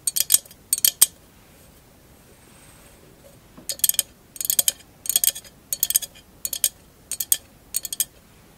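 A tall, hollow, empty candle holder covered in glass mosaic tiles is held upright and tapped with long acrylic nails. Quick bursts of bright, high clicks come in clustered runs separated by a quiet pause. Each tap is sharp and dies away almost instantly with no ringing tail.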